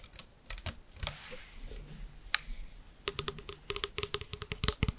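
A clear plastic bottle of water with a white plastic cap is held in hand and tilted while fingertips and nails tap and scratch the cap and bottle. The result is a run of rapid, dry, bright clicks that sound like typing, with a soft scratchy hiss between taps early on and the clicks growing denser toward the end.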